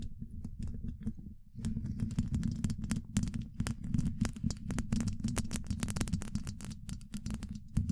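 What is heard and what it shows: Long acrylic nails of both hands scratch directly on the rounded, hollow woven steel mesh grille of a large condenser microphone. A dense patter of quick, dry clicks and scrapes rides over a heavy low-frequency rumble. It starts sparse and quieter, then grows busier and louder after the first second and a half.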